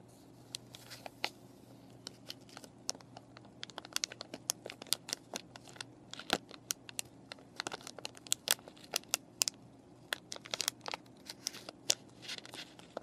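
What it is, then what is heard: Plastic and cardboard paintbrush package. Long painted nails and fingertips press, scratch and crinkle the clear plastic sleeve of a flat paintbrush package, with brushes inside and a printed cardboard backing, lying on a table. Quiet, bright, dry clicks and crackles come in quick irregular bursts over a faint steady low hum, each snap dying away almost instantly.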